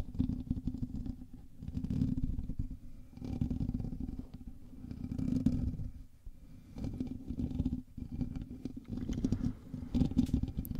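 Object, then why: Metal mesh microphone grille. Both hands scratch the hollow metal mesh grille of a black USB microphone with fingertips and nails. A dense, muffled scratching rumble concentrated in the low range swells and fades in waves, with brief lulls near six and eight seconds. The texture stays close and boomy, with little high or bright content.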